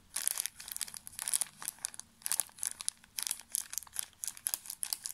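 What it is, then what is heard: Plastic tissue pack wrapper being crinkled. A small, full pocket pack of tissues wrapped in thin plastic film is squeezed and crinkled with the fingertips. Dense bursts of crisp, bright crackling come in quick clusters with short pauses between them. The sound sits almost entirely in the high range, with no low end.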